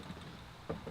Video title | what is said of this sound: The Only Jeep You Should Buy | the glass doesn't even Rattle and Shake it's still in there nice and solid